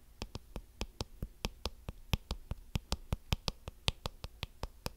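Fingertips scratch and flick the thin plastic bristles of a small blue plastic hairbrush with a cartoon back and flexible plastic bristles. About 21 quick, dry ticks and snaps sound in a steady, slightly uneven rhythm, each one a sharp broadband click with a bright top and a soft low thump that dies away almost instantly. A faint scratchy rustle fills the short gaps between the flicks.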